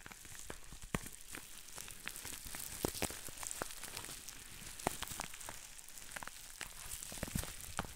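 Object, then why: Plastic bubble wrap sheet. Fingertips squeeze a sheet of green plastic bubble wrap held to one side, popping its small bubbles one after another. Sharp, dry snaps ring out over a steady soft crinkling hiss, each pop cutting off almost at once.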